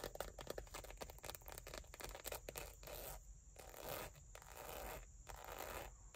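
Long nails scratch and tap the surface of a small, dark brown, textured leather bifold wallet, held flat in one hand with cards inside. The result is quiet, dry, rapid scratching with soft taps in uneven bursts, and a few brief pauses in the second half.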